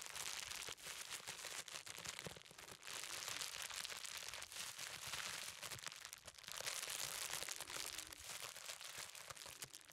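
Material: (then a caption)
Plastic. A large, hollow-cored roll of clear plastic bubble wrap is held upright in both hands while fingertips tap and press over the bubbles. It gives a continuous, dense crinkling with scattered sharp pops and crackles, bright and hissy throughout with almost no low end.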